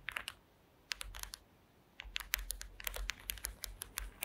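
Long acrylic nails tap and scratch across a flat woven placemat of small wooden slats resting on a table. Quick, dry, bright clicks come in a short burst, pause, return in a second cluster, then after another gap run densely to the end. Each tick cuts off instantly over a faint low hum.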